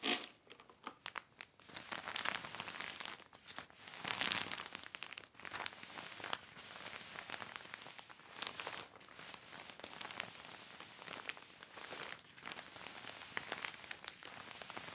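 A large, flat, heavy black plastic sheet from a thrift shop lies on red carpet, wet with spray droplets, with a spray bottle nearby. A yellow microfiber cloth is wiped and rubbed across it under the fingertips, producing dense, bright plastic crinkling and rubbing that starts with a sharp burst, then continues in uneven waves of crackle and swish.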